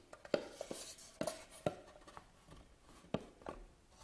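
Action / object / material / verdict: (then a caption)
scrape / hand-carved wooden box / wood / none. Long nails scratch across the carved top of a closed, hollow, medium-sized hand-carved wooden jewelry box resting on a table. Irregular sharp clicks and scrapes carry a brief hollow knock around 590 Hz, over soft, bright scratchy texture between strokes.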